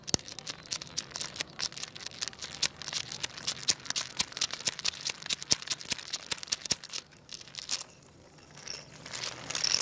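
A hand wiggles a segmented wooden crocodile toy side to side on tiles, making its wooden segments clack in a rapid, uneven run of sharp, bright clicks with almost no low end and no ring. The clacking thins out after about seven seconds, leaving a quieter soft rustle that swells again near the end.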